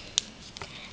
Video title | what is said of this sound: Breyer Horses for sale- CHEAP | the other sounds like plastic